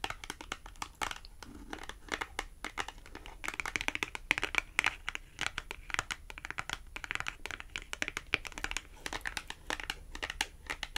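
A small, thin, flat red printed cardboard price tag with a Tom and Jerry design is held up and tapped on its face with long acrylic nails. The result is a steady run of quick, dry, bright clicks with a papery crinkle, each dying instantly without ringing. The sound is quiet and close, with almost no low end.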